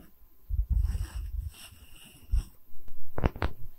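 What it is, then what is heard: Wooden tree slice coaster. A solid wooden tree-slice coaster with bark is tapped with fingernails on its top face, then held face-on close to the mic in both hands and scratched. Soft, muffled low thumps and rubbing give way to a few sharp, bright clicks near the end.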